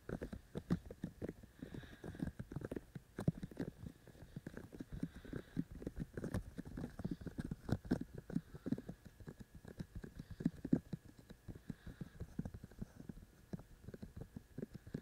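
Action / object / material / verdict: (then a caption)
tap / silicone ear shells of a binaural microphone / silicone / none. Fingertips of both hands tap repeatedly on the white silicone ear shells of a binaural microphone with a black body. The result is a fast, continuous patter of soft, muffled thumps, mostly low and dull with a very short decay, lasting the full clip.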